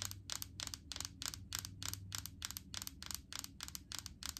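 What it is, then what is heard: Plastic coconut oil jar. Long acrylic nails tap rapidly on a large plastic jar full of solid coconut oil with a green plastic lid. The quick, uneven bursts of clicks are crisp and bright, dying away almost instantly, over a faint low hum.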